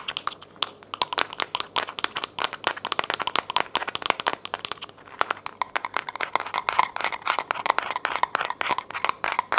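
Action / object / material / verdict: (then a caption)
tap / plastic pill bottle / plastic / none. A white, labeled, hollow plastic vitamin bottle, possibly holding pills, is held and tapped and scratched with long nails, perhaps also shaken. It makes a rapid, steady stream of dry, crinkly clicks and scratches with bright upper tones and a midrange peak near 1 kHz. There is almost no low end and each hit stops instantly.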